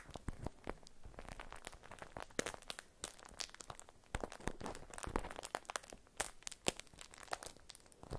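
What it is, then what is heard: Beeswax-coated cotton food wrap. A stiff, printed beeswax-coated cotton food wrap is unfolded and crinkled by fingers with long nails. The result is a dense run of sharp, dry crackles and crunches across 8 seconds, with bright, snappy transients and a low rustling underneath.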